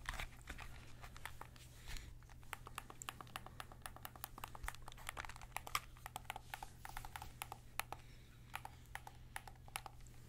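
Fingertips tap and scratch the smooth plastic body and buttons of a white PS5 DualSense controller, a hollow plastic shell held in both hands and then in one hand near the head. Quick, sharp, bright clicks and light scratchy taps come in dense, irregular bursts that die away almost instantly. A steady low hum runs underneath throughout.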